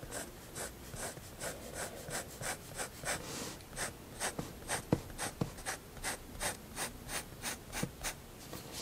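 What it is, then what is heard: Pen nib drawing on sketchbook paper. A fineliner pen draws long vertical strokes on a white sketchbook page lying flat, its nib rubbing across the paper surface. The result is a steady series of soft, bright, scratchy rasps, one per stroke, with a few sharp little ticks where the nib catches.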